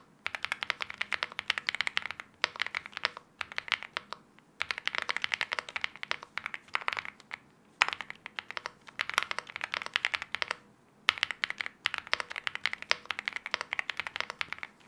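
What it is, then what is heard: Mechanical keyboard being typed on. Both hands type continuously with their fingertips on an aluminium-case 75% mechanical keyboard with wine red plastic keycaps and linear switches. The result is a dense run of short, bright clacks in bursts separated by brief pauses, with almost no low end and each keystroke stopping dead.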